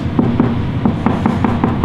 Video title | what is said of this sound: How To Cut Base Molding Inside Cope and Outside Corner on a Round Corner Bead | knocking on the drywall I'm searching for studs if it sounds Hollow